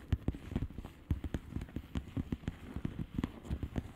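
Long manicured nails on both hands tap a flat padded mailer with a plastic bubble wrap surface of hollow air bubbles, lying flat. A steady run of soft, dull taps follows, each short and quickly fading. The sound is low and muffled, with almost no bright content.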